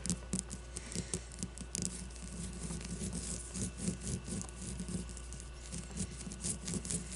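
Long blue-painted nails scratch and tap a solid leather-covered baseball with red stitching as it rests on a table. Quick, soft taps with a dull low thump patter over a steady dry scratching rustle that carries a bright edge. Each tap dies away almost at once.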